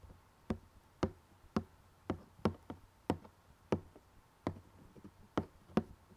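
Fingertips and nails tap the glossy printed lid of a closed rectangular cardboard jigsaw puzzle box holding puzzle pieces. Eleven short, dry, hollow knocks are heard at an uneven pace, each dying away almost instantly with no ring.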